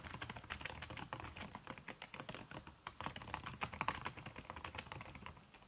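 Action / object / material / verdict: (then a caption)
tap / laptop keyboard with silicone keyboard cover / silicone / none. Fingertips with long red-painted nails type quickly on a backlit aluminium laptop keyboard whose plastic keys are covered by a red silicone skin. A dense, steady stream of soft, muffled key taps mixes dull low thuds with brighter clicks, each dying away almost at once.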